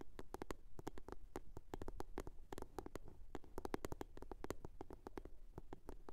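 A blue box is tapped and scratched in a quick, irregular series of short, dry clicks. Each tap stops almost at once, with most of the sound low and dull and a soft scratching texture between the taps.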